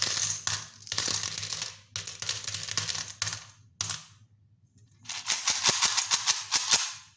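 Handfuls of small silver aluminium coins, with a few brass ones, are dropped from cupped hands into an empty-to-partly-filled stainless steel bowl that is held at its rim at the end. Bright, jingling clatters of metal on metal come in several bursts, each with a short high ring. After a brief pause, a final run of distinct, ringing clinks closes the clip.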